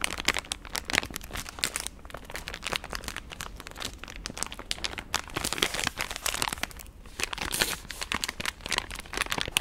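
A pink, palm-sized, partly full soft plastic wet-wipes pack is held up and crinkled and squeezed with fingertips and long nails. Dense, bright crinkling and crackling run continuously in quick overlapping bursts, mostly high-pitched with little low end.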